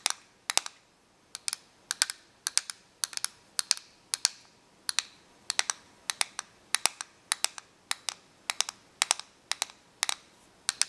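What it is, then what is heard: Plastic correction tape dispenser. Long nails tap and scratch the surface of a small, hollow, clear plastic correction tape dispenser held flat on paper. Sharp, bright, dry clicks come in quick clusters of two or three, separated by short pauses. Each click dies away almost instantly, with a faint hiss between them.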